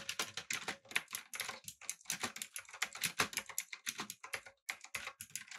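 Fingertips type quickly on a backlit, typewriter-style mechanical keyboard with round plastic keycaps. The result is a dense run of bright, crisp clacks with very short decay and almost no low end, pausing briefly near the end before the typing resumes.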